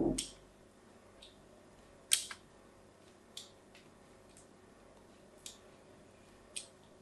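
A small blade cuts diagonal grooves into a solid white bar of soap held in the hand. Short, bright scraping and cutting sounds come at irregular intervals over a quiet background, each one fading quickly.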